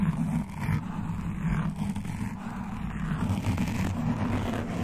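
Long dark nails and metal claw nail rings on both hands alternately scratch around a soft, porous black foam windscreen covering a large condenser microphone, picked up directly by the mic. The result is a steady, dull rumbling scrape, heavy in the low end with almost no high or bright content, and no clear pauses between strokes.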